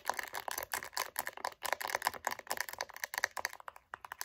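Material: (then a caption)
Faux leather. Long nails tap quickly on a light-blue pebbled faux leather wallet with gold hardware, making a rapid run of about 30 short, dry clicks. The clicks are bright, with no low-end body and almost no ring.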